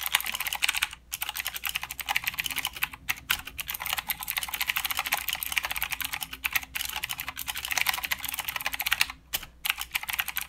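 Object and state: Mechanical keyboard being typed on.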